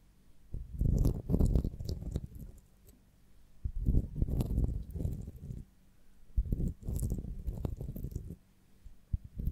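A beeswax honeycomb on a branch, with its wooden stick, is held in both hands while long nails tap and scratch across the comb cells. The sound comes in soft, muffled bursts of dull, low tapping and crinkly scratching, separated by short quiet pauses, with only faint brighter ticks on top.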